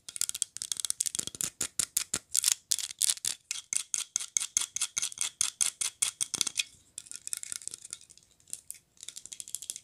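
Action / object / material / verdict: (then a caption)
tap / small glazed ceramic figurine / glazed ceramic / none. Long nails tap and scratch a small glazed ceramic polar bear figurine in a red Santa outfit that looks hollow. The result is a fast, steady run of dozens of bright, dry clicks with no low end and almost no ring. Near the end it shifts to shorter bursts of scratchy ticking.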